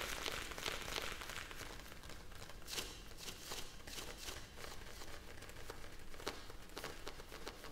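A clear, hand-sized plastic bag full of small blue gel beads is held on the palm and tapped and scratched with long nails. Soft, continuous crinkling and rustling runs throughout, punctuated by bright, crisp clicks from the taps. The sound stays quiet and close, with a low rumble underneath.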